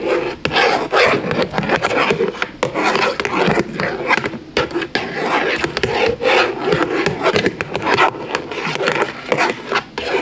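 A thin black pen-like stick scratches and taps along the surfaces and edges of a large, lit, hollow puzzle lampshade made of thin interlocking plastic panels. The result is a dry, rough, rasping scratch, centered in the midrange with little low end, broken by frequent short taps that die away quickly.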